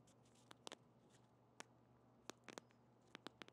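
A small pink soft plastic squeeze tube of lip balm, held in the hand, is scratched and tapped with long painted fingernails. Sharp, bright clicks and taps come in scattered bursts and die away instantly, over a faint low, steady hum.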